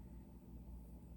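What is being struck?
Nothing is struck.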